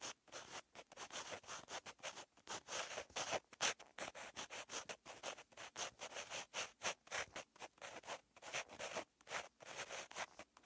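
A purple pen tip scratches across a lined paper notebook page while writing. The clip is a quiet, continuous run of short, bright scratching strokes with brief pauses between them. There is almost no low end.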